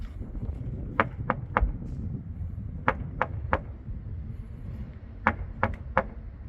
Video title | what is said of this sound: 2만명 일본인이 집안에서 얼어죽는 충격적인 이유 "실제 일본 가정집 영상 공개" (신작가, 호사카 유지, 이명찬 / 일본 특집) | 텅텅 소리가 납니다. 아니 텅 비어 있는 소리예요.